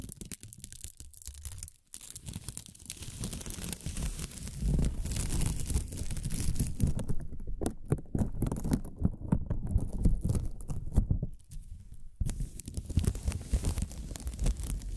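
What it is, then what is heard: Plastic film ribbon crinkling. A thin, pink translucent plastic film ribbon tape strip is stretched and crinkled by fingers with long nails, producing a dense, irregular stream of rapid crackles and rustles with a heavy low-end rumble. The crinkling stops briefly near the start, builds steadily, dips again later, and then resumes until the end.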